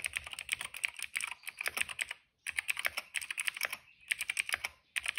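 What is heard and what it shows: Fingertips of both hands type steadily on a retro-style cream plastic mechanical keyboard with dark and purple plastic keycaps and a hollow case, resting on a rug. Rapid, bright, clacky keystrokes centered around 2.3 kHz are heard, each short and dry with almost no ring. The typing comes in bursts broken by brief pauses around 2.3, 4 and 4.9 seconds.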